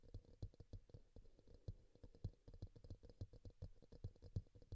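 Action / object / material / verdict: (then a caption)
tap / small plastic bowl, upside down / plastic / none. A small, glossy teal bowl, likely plastic, sits hollow and upside down on a green towel with a microphone inside, while one hand grips it and taps and scratches it with fingertips and nails; a pink bowl nearby is left untouched. A quick, uneven run of soft, dull, low-pitched knocks sounds, each dying away almost at once, mixed with faint scratching.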